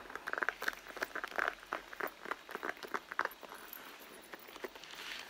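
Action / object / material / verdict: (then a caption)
tap / leather handbag / leather / none. Fingertips and long nails scratch and tap the front panel near the zipper of a medium, hollow, soft-sided red pebbled-leather handbag lying on a textured mat. The result is a quick, irregular series of short, dry taps and scratchy patters centered around 1.5 kHz with some high hiss, each dying away almost instantly and with no low-end thump.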